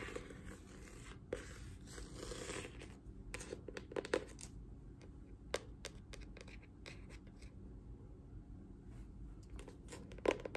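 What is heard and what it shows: Long fingernails tap and scratch the glossy cardboard cover of a paper notebook printed with a dragon illustration, held up in both hands. Soft, steady scratching runs throughout at a low level, broken by short, sharp taps that die away almost instantly.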